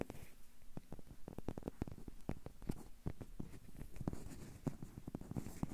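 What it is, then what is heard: Rubber duck toy tapped. A small hollow yellow rubber or vinyl bath duck is rapidly tapped and scratched with fingertips and nails across its base and body. The result is a quick, irregular run of quiet, dull, low thuds with almost no ring, mixed with soft scratching.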